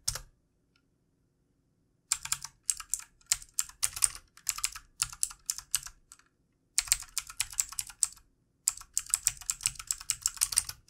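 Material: Plastic.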